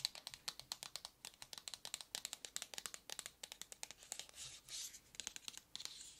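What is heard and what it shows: Long red nails tap and scratch the surface of a long, narrow, hollow white cardboard product box held in both hands. Dozens of quick, dry, bright clicks come in a rapid, uneven patter with almost no ring. A few longer scratching swishes break through near the end.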